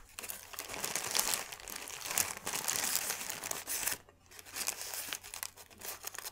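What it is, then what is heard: Thin paper sheet, crumpled and rubbed. A thin white paper sheet is crumpled into a ball, then unfolded and rubbed between the fingertips. Dense, bright crinkling and crackling run nearly continuously, pause briefly just after four seconds, then return as quieter, patchier rustling.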